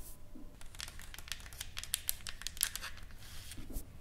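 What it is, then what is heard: Painted wooden plaque tapped and scratched with nails. Long acrylic nails on both hands tap and scratch a solid, flat painted wooden sign board with lettering and flowers, lying on a table. Quick, dry clicks and bright scratchy strokes overlap over a low, soft rumble, each tap dying away almost at once.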